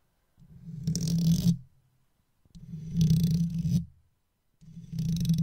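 A wooden toothpick held in the fingers scratches the side of an uncovered microphone's hollow metal mesh grille, then is pulled away at the end. Three long scratching bursts come through as a deep, close-miked rumble centered around 130 Hz, with faint bright hiss on top. Short silences separate the bursts.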